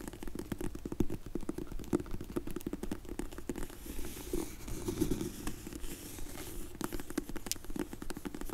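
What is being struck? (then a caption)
Faux leather hard glasses case. Long nails tap and scratch on a closed, dark grey faux leather hard sunglasses case held in both hands. The result is a steady run of dull, muffled taps with a low body and soft scratchy crackle between them, coming at an uneven, quick pace.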